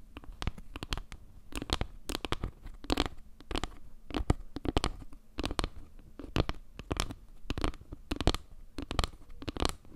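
Long nails scratch along the edges and faces of a solid, round wooden log-slice panel made of small wood slices, tilted close to the mic. Quick, dry scraping strokes come in uneven clusters, each with a soft low thump under crisp, bright crackles and ticks that stop almost at once.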